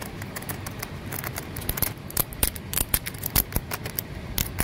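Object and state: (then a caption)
Rough concrete flower pot. Fingernails scratch and tap along the rough rim of a large, solid, grey, porous concrete flower pot. Dry, gritty scraping runs throughout, punctuated by short, sharp, bright taps that die away almost instantly over a low, steady rumble.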